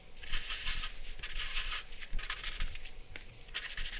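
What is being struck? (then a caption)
Paper drawing sheet scraped with a charcoal pencil. A dark charcoal pencil held in the hand scratches and rubs across a large white drawing paper sheet on a black board, lying flat on a wooden desk, shading the lips and chin area. Bursts of dry, bright, hissy scraping come in repeated strokes, with a faint low rumble underneath.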